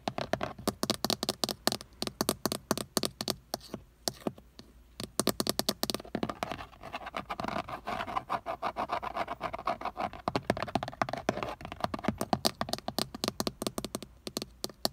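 Fingertips and short nails tap and scratch a Honda car's steering wheel centre pad, a hollow, textured leather-look plastic airbag cover with a chrome emblem, working around and on the emblem. Rapid dry clicks and taps with very short ring run in dense bursts, with softer scratching and brief quieter gaps between.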